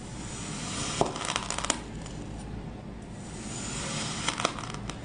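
A white ceramic knife cuts thin slices from a solid green heart-shaped block of packed kinetic sand on a wooden cutting board. The blade makes a steady, gritty, high scraping hiss, broken by sharp crisp crackles and clicks near the start and again near the end.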